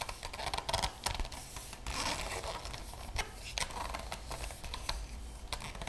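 Long fingernails tap and scratch the front of a large, solid, closed hardcover art book with a printed paper-over-board cover, held upright in both hands by fingers wearing metal rings. Quick, bright clicky taps mix with dry, papery scratching rasps over a low, quiet background.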